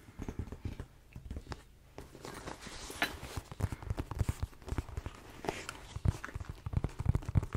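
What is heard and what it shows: A medium-sized tan leather shoulder bag with a spotted, leopard-print pony hair flap and a pink buckle is held in both hands close to the mic, and fingertips and nails tap and scratch the closed flap. The result is a dense run of soft, dull, low-heavy taps and brushing scratches, with brief brighter rasps as the nails drag across the hair-on-hide surface.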